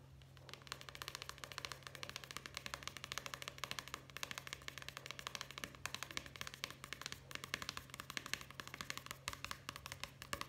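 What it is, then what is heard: Paperback book. Fingertips tap fast on the open paper pages of a solid paperback book with a card cover, held upright, and then on its cover. The result is a dense, steady stream of quick, dry, bright clicks over a constant low hum.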